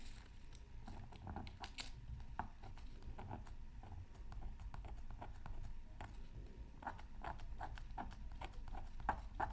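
A wooden stylus scratches a thin black-coated scratch art card from a Mythical Creatures Super Scratch Art Pad, lying flat on a mat. The result is a quiet series of short, dry scratching strokes with brief bright streaks, over a steady low rumble and a faint tone near 800 Hz.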